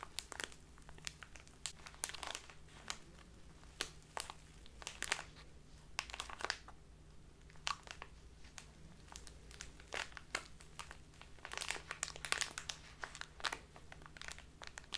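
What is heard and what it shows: A small clear plastic bag with a white label, full of dark loose tea, is squeezed and crumpled by fingertips with long dark nails. Quiet, bright crinkling comes in a steady run of short, sharp crackles over a faint low hum, with no speech.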